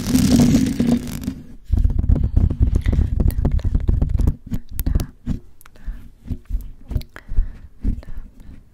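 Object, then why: Metal mesh microphone grille. Long white acrylic nails on both hands tap and scratch the white metal mesh grille of a large hollow USB studio microphone in the Blue Yeti style. A dense, boomy low-end rubbing and scratching wash fills the first four seconds, then gives way to quicker, separate dull taps and short scrapes. The taps stop dead with no ring.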